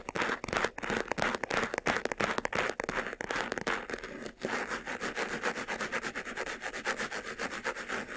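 Fingertips rub and scratch the sides and front of a closed, hollow, medium white textured faux-leather jewelry box. Quick, uneven strokes make a dry, rasping sound with a bright hiss. After a short pause near the middle, the strokes return faster and more evenly.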